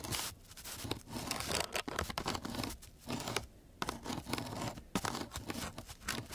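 A flat wooden stick is scratched across the grit of a coarse sheet of sandpaper. Rough, gritty scraping strokes come in quick repeated bursts with brief pauses between them. The noise is broad and hissy, bright on top with a low rasp beneath.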